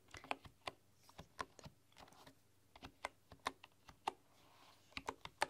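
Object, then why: Bamboo computer keyboard with wooden keys. Long, dark-polished nails and fingertips type on a full-size bamboo computer keyboard with wooden keys. About twenty quiet, uneven taps and clicks come through, each short and dry with a hollow, woody tone and a bright clicky edge that dies away almost instantly. A faint steady low hum sits underneath.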